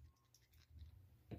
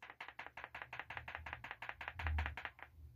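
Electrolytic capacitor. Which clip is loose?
The second.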